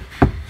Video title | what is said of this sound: Автомобильная дверная шумоизоляция в три слоя на Toyota RAV4. В салоне тише, автозвук насыщеннее | Слышите, уже более глухой звук металла у нас образовался.